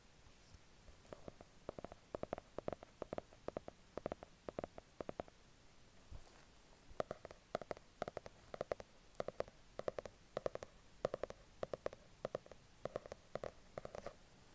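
Fingertips tap and scratch along the yellow-gilded page edges and patterned cover of a hardcover notebook with a yellow elastic strap, held on a white duvet. Quick clusters of short, dry taps with a hollow tone around 540 Hz and faint high ticks are broken by a brief pause near the middle. The solid paper block gives a muted, papery knock with almost no ring.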